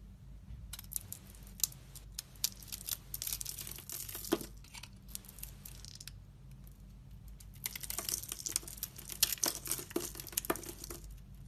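A hand-sized solid bar of soap with a red, black and gold painted coating is held in one hand while a utility knife blade scrapes and shaves it, curling off soap shavings. Bright, crisp scraping and crackling strokes come in two dense bursts separated by a quieter pause, over a faint low hum.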